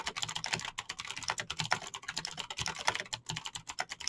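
Fingertips type fast on a Razer BlackWidow backlit plastic mechanical keyboard with clicky green switches. A rapid, uneven stream of sharp, bright clicks and clacks comes from the keys, each tap dying away almost instantly, with little low end beneath.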